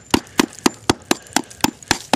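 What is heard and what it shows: A wire-brushed cement coating over wire mesh on an old stone foundation is tapped nine times in a steady rhythm. Each tap gives a short, dry, hollow-sounding knock with a low-mid body around 270 Hz that dies away almost instantly. The hollow sound marks a loose spot in the parging, though it is not bad.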